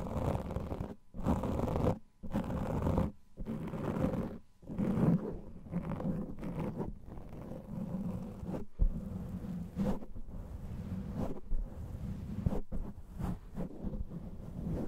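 Fingers of both hands cup and scratch a large black foam microphone windscreen, producing deep, muffled rustling and scraping that is heavy in the low end. The scratching comes first in separate bursts with short silent gaps, then settles into a steady, continuous crackly rub.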